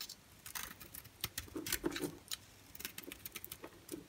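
A utility-knife blade scrapes and cuts a solid white bar of soap held in the palm in short strokes. It makes a quick, uneven run of dry, crisp scratches and clicks, bright and short with a faint low body under each stroke.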